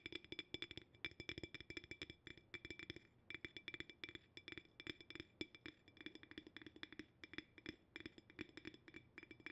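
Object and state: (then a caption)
Empty glass jar tapped. An empty, clear cylindrical glass jar with a bamboo wooden lid is held upside down and tapped on the glass with fingertips and nails. Quick, dense bursts of short, crisp taps follow one another with brief pauses between runs. Each tap gives a bright glassy ping with a lower hollow tone beneath it.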